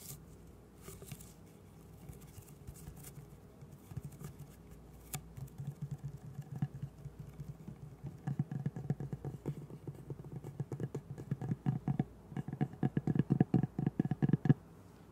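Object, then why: Paper roll on a cardboard core. A long roll of green Christmas wrapping paper on a hollow cardboard core is held horizontally and tapped with the fingertips and nails of both hands. It starts as soft, sparse patter and builds into quicker, denser hollow taps with a low, boomy thud. Each tap dies almost instantly.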